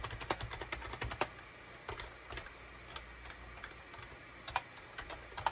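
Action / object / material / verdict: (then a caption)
tap / plastic computer keyboard / plastic / none. Fingertips of both hands rapidly type on the keys of a full-size gray, cream and orange SHIPADOO K600 wired USB plastic keyboard with a hollow plastic housing, resting on a desk mat. The result is an irregular clatter of short, dry, bright clicks with some louder key strikes, over a faint low hum.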